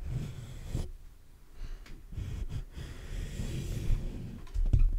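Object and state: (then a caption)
Metal mesh microphone grille. Fingertips tap and scratch the black metal mesh grille of a large hollow condenser microphone. The result is deep, boomy thumps and rough low rustling that sit almost entirely in the bass, with a few sharper taps standing out. A louder cluster of taps comes near the end.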